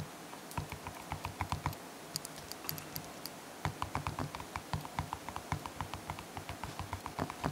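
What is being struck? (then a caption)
Slime in a plastic jar. Fingertips press and poke the soft surface of pink and blue slime in a small clear plastic jar while the other hand steadies the jar. A rapid run of short, sticky clicks and wet pops with a low thud beneath is heard, easing into a quieter stretch of sparse bright crackles before the dense poking resumes to the end.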